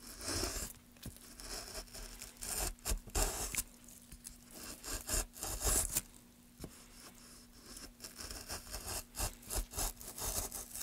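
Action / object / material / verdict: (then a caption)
scrape / pine wood block / pine wood / none. A metal gouge, held in gloved hands, scrapes and carves along the grain of a solid pine wood block. Irregular bursts of bright, rasping strokes rise and fall over quieter stretches of soft rubbing. A faint steady low hum runs underneath throughout.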